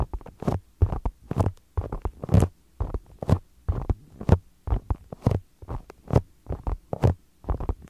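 Two identical small, solid polyurethane foam soccer-pattern stress balls are held against a microphone and tapped and scratched with fingertips and short nails. The result is a steady run of soft, muffled thumps with a low, boomy body, each carrying a brief dry scratchy rasp that fades almost instantly, with quiet gaps between them.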